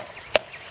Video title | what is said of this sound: How to do White Oak Diagnostic Inspection | this sounds solid you hear that that's solid